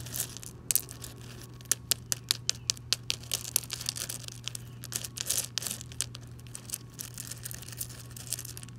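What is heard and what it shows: Long pink nails and fingertips tap and scratch across a bed of small loose rounded gravel stones on the ground outdoors, with a hand shuffling through them. Sharp, bright clicks stand out over a steady scratchy, crunching rustle, all above a constant low hum.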